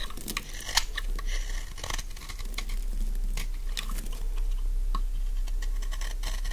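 A solid pink bar of dry soap, about palm length, is held in one hand and shaved and scraped along its edge with a metal utility knife blade, dropping curls of soap onto a pile of shavings. The blade makes quick, irregular, dry scratchy crackles and bright clicks over a steady low hum.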